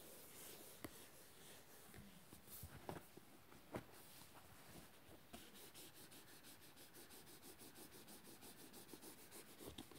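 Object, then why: Paperback book with glossy cardboard cover. Fingertips and nails tap and scratch the glossy cardboard cover of a closed, solid red paperback book, "Der Kanun," lying flat. A quiet, steady papery scratching runs throughout, broken by about seven short, sharp taps. The scratching turns into a faster, rhythmic rubbing in the second half.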